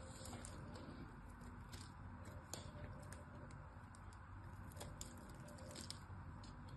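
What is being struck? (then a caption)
Glycerin soap bar. A small knife shaves and cuts the edge of a solid pink glycerin soap bar. Soft, bright scraping crackles and small clicks come scattered through the clip over a quiet, steady low rumble, with a few sharper snaps standing out.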